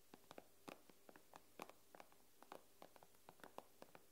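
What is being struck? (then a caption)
Glass tablet screen tapped with fingernails. Long nails tap the glass screen of an iPad in a quick, uneven series of about nineteen short, dry clicks. Each click is sharp with a brief bright edge and almost no ring, and there is a faint steady low hum underneath.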